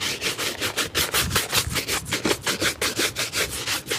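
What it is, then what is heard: Leather shoe being brushed. A hollow, empty dark leather shoe with a rubber sole, held in the lap, is brushed briskly back and forth with a wooden-backed bristle brush. About twenty quick, dry, bright swishing strokes sound in a steady rhythm, each one brief with no ring after it.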